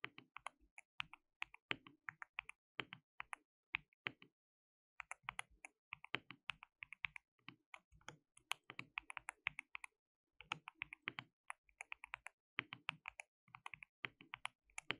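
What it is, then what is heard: Plastic mechanical keyboard. A compact white-cased mechanical keyboard with a hollow case, white and pink plastic keycaps and RGB backlight is typed on continuously by both hands, fingertips pressing the keys. Quick, bright, clacky keystrokes rattle out in bursts with very little low end and almost no ring. Short pauses break the typing near 4.5 and 10 seconds.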